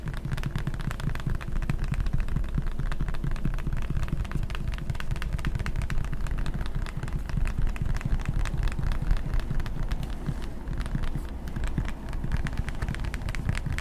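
A clear plastic pump bottle of hand sanitizer, partly full of gel, is held close and tapped and scratched with fingertips and nails. The result is a dense, continuous run of quick, dull taps and scratches, heavy in low thumping tones with a steady loudness throughout.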